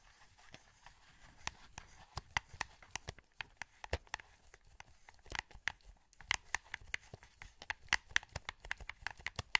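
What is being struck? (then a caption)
Plastic game controller. A hollow, translucent green plastic PS2 wireless controller is held in both hands while thumbs press its buttons and analog sticks. A quiet, uneven run of about thirty short, dry, bright plastic clicks and taps follows, each stopping instantly over a faint hiss.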